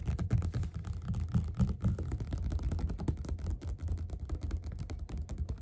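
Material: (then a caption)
Paper. Both hands tap fast with the fingerpads on the cover of a closed, solid yellow glossy paperback of Othello lying flat on a table. The result is a quick, uneven patter of soft, low, dull thuds that die away almost instantly, with no bright edge.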